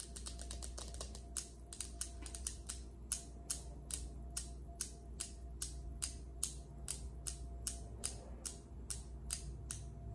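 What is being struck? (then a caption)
Polished granite countertop. Long acrylic nails tap on a large, solid, polished granite countertop, ending with a single nail scratching across the surface. Sharp, bright clicks come rapidly at first, then settle into a steadier, evenly spaced rhythm, each dying away almost instantly. A low, steady hum sits underneath throughout.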